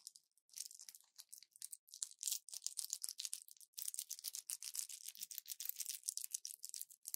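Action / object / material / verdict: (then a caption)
scrape / plastic and foil pill blister pack / plastic, foil / none. An orange plastic blister pack with foil backing and pills inside is held in both hands, bent and scratched with long nails. It makes quiet, dense crinkling and scratchy crackles in rapid bursts, all bright and high with no low end.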